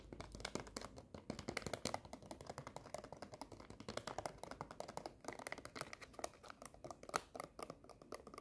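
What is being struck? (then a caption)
Plastic stand-up candy pouch. A small, full Skittles plastic stand-up pouch is scratched and crinkled with long nails. Rapid, dense, crisp clicks and crackles run continuously at a quiet level, with a few sharper spikes standing out.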